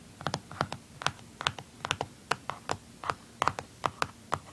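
Fingernails tap and scratch the back casing on the underside of a blue plastic handheld game console. About 19 short, dry clicks land at an uneven pace, each a bright plastic tick centred around 1.2 kHz with almost no ring, over a faint scratchy hiss between them.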